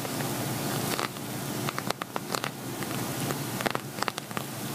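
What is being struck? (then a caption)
Glitter vinyl cosmetic bag. Fingernails tap and scratch on an empty, hollow silver glitter vinyl zippered cosmetic bag. Sharp, crisp taps cut through a steady scratchy rustle, giving a bright crackling texture over a low hum.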